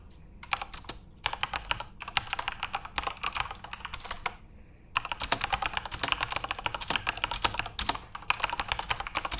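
Fingertips type continuously on a backlit plastic Corsair mechanical RGB keyboard. Rapid, bright, crisp key clicks come in dense bursts, with brief pauses near the one-second mark and around four and a half seconds. Each click is short and dry with almost no ring.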